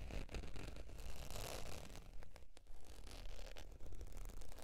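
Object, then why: Faux leather zip wallet. Long, pointed dark nails scratch and tap the face of a beige, textured faux leather zip wallet lying on fur. The result is a steady, quiet run of soft, crackly scratching with irregular light taps, heavy in low rumble and with little high-end brightness.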